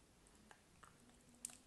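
A solid cream bar soap held in the hand is carved and scraped with a craft knife blade. Three soft, crisp scraping clicks stand out, each with a bright, high edge, over a quiet background.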